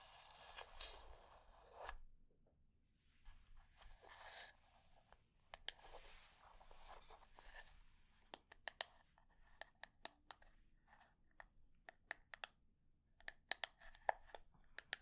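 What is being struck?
Small wooden box.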